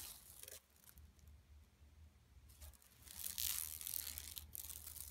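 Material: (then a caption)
Woven plastic. Long nails scratch across the weave of a flat, empty yellow woven plastic mesh tote bag lying on carpet. Bright, dry scratching comes in short bursts, quiet at first and growing louder and denser toward the end, over a low steady hum.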